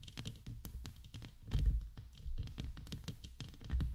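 Long acrylic nails scratch and tap the bare dark metal wire-mesh grille of a large hollow USB microphone with a row of rhinestones at its base. The result is a steady run of quick, close scratchy taps with a deep, boomy thud and crisp bright clicks on top, swelling louder in a few heavier bursts.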